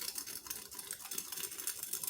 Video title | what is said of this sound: Breakfast Casserole (with Beef Breakfast Sausage) | you can hear how crispy it is